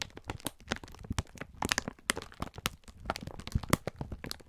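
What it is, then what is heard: Plastic-wrapped pack of sponge scourers. A clear plastic film pack of sponge scourers is held in both hands while the fingertips squeeze and rub it. The result is a steady run of sharp, dry crinkling and crackling snaps, each ending instantly, spread across a soft, low rustle.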